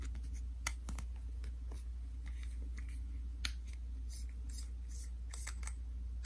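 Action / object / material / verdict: tap / soft plastic cream tube / plastic / none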